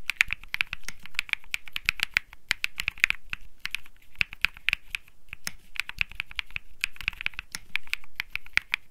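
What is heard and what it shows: Fingertips type steadily on a cream mechanical keyboard with plastic keycaps. Quick, dense keystrokes tap and clack, each with a bright, clicky snap around 2.4 kHz over a soft low thud. The sound dies away almost instantly.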